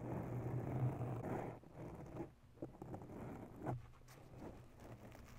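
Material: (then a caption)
Foam. Long natural nails scratch a grey foam microphone windscreen, making a soft, muffled rumbling scratch that is mostly low in pitch. The scratching is steady and loudest for the first second and a half, then drops to quieter, scattered rubs and brief scrapes.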